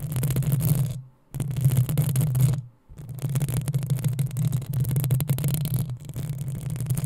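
Long nails on both hands scratch up and down the hollow metal mesh grille of a black desktop microphone. The result is a dense, low, rumbling scrape with a hum-like body around 117 Hz and faint crackly texture above. Two brief silent gaps fall near 1.2 and 2.8 seconds before the scratching continues steadily.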